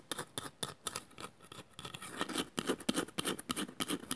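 A small, hollow woven bamboo bowl with a painted inside is turned in the hands while long nails scratch it on both the inside and the outside. The result is a fast, somewhat uneven series of short, dry scratching strokes with bright high-end texture and almost no ring after each one.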